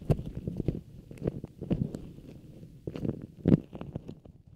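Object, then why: Beeswax-coated cotton food wrap. A printed beeswax cotton food wrap is held close while long nails and fingertips rub and squeeze the waxed cotton. It gives soft, low, muffled crinkles and scratchy rustles in quick bursts. At the end the wrap is folded tighter.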